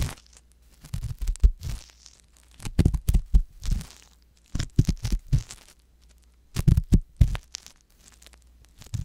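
The tip of a wooden ear pick scrapes inside the canal of a soft silicone ear mounted on a white box binaural microphone. It makes close, crackly scratching and rustling in repeated bursts separated by short quiet gaps. The sound is heavy in the low end over a faint steady hum.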